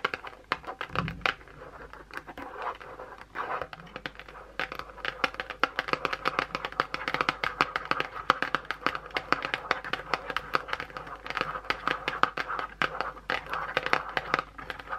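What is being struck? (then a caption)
Small cardboard box. Long pointed blue acrylic nails scratch and tap the printed top of a small closed white Dove cardboard box lying on a towel. A steady stream of dry, crinkly scratches is broken by quick, sharp taps that die away almost instantly, centered in the mid range with bright edges and almost no low end.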